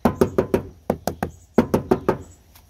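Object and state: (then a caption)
Sound-deadened car door panel, damped. Knuckles knock in quick groups on a Civic's steel door panel covered with butyl sound-deadening mat. Each knock is a short, dull thud with almost no ring, sounding damped and solid compared with the untreated door.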